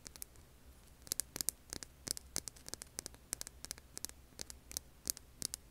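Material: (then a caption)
Stone. Long nails scratch the grainy surface of a hand-sized, solid, rough tan rock held in both hands. The result is a quick, uneven series of short, dry, bright scratchy clicks that stop instantly, heard quietly over a steady low hiss and faint hum.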